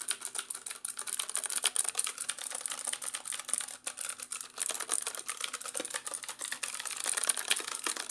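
A compact black plastic mechanical keyboard with orange accent keys is held up in both hands while its keys are pressed and tapped rapidly with the fingertips. The result is a dense, fast stream of sharp, bright plastic clicks and clacks that stop instantly, with almost no low end.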